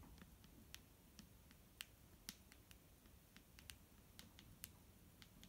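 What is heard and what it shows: A clear plastic micellar water bottle filled with liquid is tapped with fingertips and nails, producing seventeen sharp, bright clicks at an irregular pace. Each tap is crisp and dies away almost instantly, over a quiet, low rumbling background.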